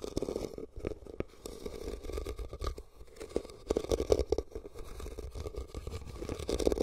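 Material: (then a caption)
Rattan. Fingertips and nails scratch and tap the woven sides of a hollow, empty red rattan basket turned upside down over the recorder. The sound is a close, dry scraping rustle broken by quick soft taps, with a hollow, boxy resonance from the inside of the basket and brief accents that die away almost instantly.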